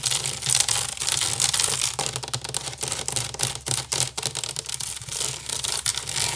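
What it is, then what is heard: Wicker basket. Long nails rapidly scratch and tap the woven side of a large, hollow wicker basket. The result is a dense, bright, crackly rasping with quick, dry taps throughout and a faint low hum underneath.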